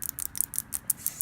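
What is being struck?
Ceramic tiles.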